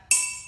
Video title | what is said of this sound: Science Lesson: Sound | able to vibrate a little bit longer this has a lower frequency